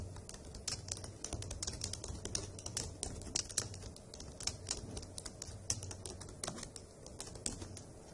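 Long acrylic nails and fingertips type on the hollow key caps of a dark grey plastic laptop keyboard, producing a rapid, steady stream of bright, sharp clicks and taps that stop almost instantly. A soft, steady low rumble runs beneath the typing.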